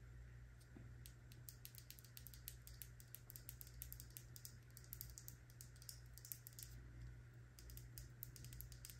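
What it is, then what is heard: Filled plastic jar with metal lid. A filled, medium purple plastic Truly body butter jar with a gold lid is held in the palm and rapidly tapped and scratched with long nails on its body and lid. Many quick, crisp clicks and scratches ride over a steady low hum.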